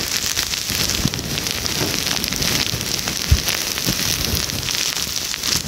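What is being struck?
Crocheted yarn scrubber sponge.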